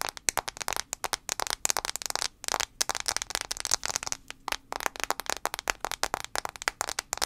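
A fingernail taps quickly and repeatedly on the glass screen of an iPhone 5c. Dozens of sharp, bright clicks come in a rapid, uneven rhythm, each cutting off instantly with almost no ring and very little low end.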